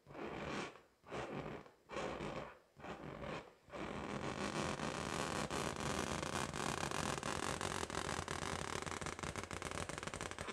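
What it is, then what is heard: Latex balloon. A pink, hollow, inflated latex balloon held in both hands is scratched and tapped with long acrylic nails. Four separate broad rasping strokes come first, each followed by a brief pause. Then a continuous dense scratching runs to the end, peppered with quick taps and broad noise reaching high.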